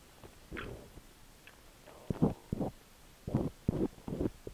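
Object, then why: Silicone dummy-ear microphone scraped with a steel ear pick. A long thin steel ear pick with a spiral tip scratches inside the canal of a cream silicone dummy-ear microphone held by fingers. It makes close, muffled scraping bursts that are mostly low and mid-toned with little high end, arriving in uneven strokes that grow louder and more frequent toward the end.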